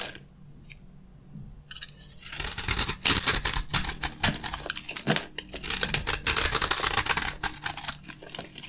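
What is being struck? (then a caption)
Soap bar scraped by a metal blade. A metal blade scrapes the gold coating off a dry, gold-stamped beige soap bar held in the hands, shaving off beige soap flakes. After about two quiet seconds, a dense, bright, crackly scraping begins, full of sharp dry clicks and crunches that continue irregularly to the end.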